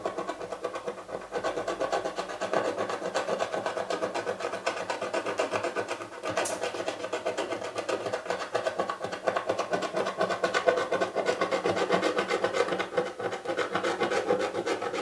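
A fingernail scratches the grey scratch-off foil on the lid of a small, hollow, printed cardboard subscription box lying flat, revealing the pink print underneath. Quick, dry scratching strokes repeat about four times per second at a steady level for the whole clip, with a papery midrange rasp and very little low end.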